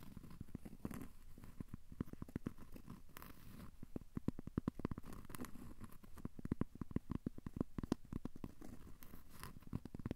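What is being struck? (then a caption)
Cork coaster. A thin, solid, square cork coaster held in the hands is scratched with short fingernails. It makes a quiet, dense run of short, dry scratching strokes that are mostly low and muffled with little brightness, and each stroke stops almost instantly with no ring.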